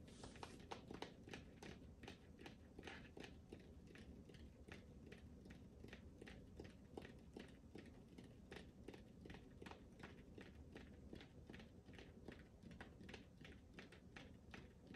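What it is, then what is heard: Rubber ball. Fingertips and nails tap and scratch the surface of a smooth, hollow, hand-sized pink rubber ball held in front of the mic. A steady stream of quick, soft taps with bright scratchy ticks plays over a low, muffled rumble. Each tap dies away almost instantly, and the level stays quiet throughout.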